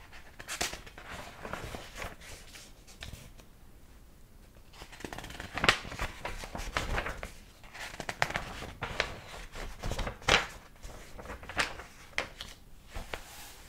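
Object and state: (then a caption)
Paper book pages being turned. A large, old hardcover book is held open with both hands while fingers flip its yellowed paper pages. Crisp, bright paper rustles and flicks are heard as each page falls, with a few sharper snaps standing out over the soft swishing.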